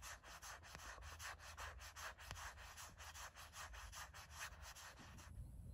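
Long nails scratch in quick, repeated strokes across the flat back of a gray matte silicone phone case with a heart print. The result is a steady run of about 17 short, dry, bright rasps over a low background rumble, ending abruptly just before the clip ends.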